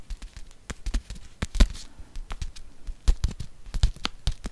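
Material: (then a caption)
Paper. A small kraft-paper soup sachet, held beside the microphone, is tapped rapidly with long fingernails. The sound is a quick, irregular run of dry, papery clicks and crinkly crackles, each with a soft low thump, with a few louder, sharper taps among them.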